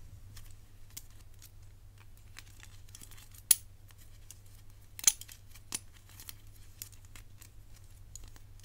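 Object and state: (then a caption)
Metal bangle tapped and scratched with fingernails. A gold-tone metal bangle with black enamel segments, held in one hand, is tapped and scratched by the long nails and fingertips of the other hand. Soft, bright ticks and scrapes are scattered irregularly over a steady low hum, with a few sharper metallic clicks standing out. Each one is very short and dies away almost at once.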